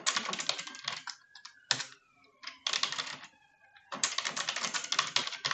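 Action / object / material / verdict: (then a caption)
tap / plastic computer keyboard / plastic / none. Long French-manicured nails type on a full-size dark plastic computer keyboard, sometimes with only one hand. Quick bursts of bright, crisp key taps are broken by short quiet pauses.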